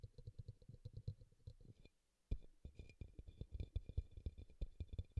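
Fingertips and nails tap and scratch the side of a small, glossy, teal bowl, likely plastic, that sits hollow and upside down on a towel while a pink bowl beside it stays untouched. The result is a quick run of soft, dull, low thumps with faint bright clicks on top, broken by a brief near-silent pause around the middle before the tapping resumes, louder and denser.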